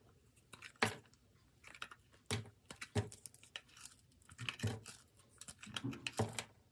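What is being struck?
Solid bar soap cut with a metal blade.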